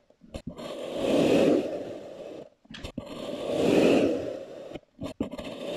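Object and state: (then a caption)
Kinetic sand being sliced. A blue plastic knife presses down through a solid, loaf-sized block of brown kinetic sand poked with a grid of holes, slicing it repeatedly. Two long, grainy scraping swells, low-mid and crackly, rise and fade as the knife cuts through. Short crisp ticks fall between and after the strokes.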